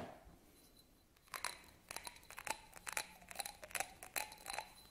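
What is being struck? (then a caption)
Textured glass votive holder. A small, hollow, empty textured yellow glass votive candle holder is held in both hands and scratched and rubbed with fingernails. After a quiet start, a rapid, irregular series of sharp, bright scratching and crinkly rasps follows, each with a brief glassy high ring.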